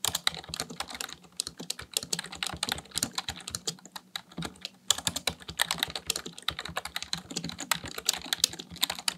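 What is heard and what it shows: Fingertips type rapidly on a full-size black plastic computer keyboard, practicing touch typing. A dense, steady run of short, bright key-press taps and clicks continues for about nine seconds with only brief pauses, each tap dying away almost instantly.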